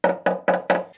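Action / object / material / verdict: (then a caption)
knock / steel car chassis rail / steel / thick. Four knocks on the thick section of a rusty Citroen Méhari/2CV steel chassis rail, just behind the front crumple zone, for comparison with the thinner side. Each knock gives a short, bright metallic tonk centered around 590 Hz that fades within about a tenth of a second. The thick steel sounds solid.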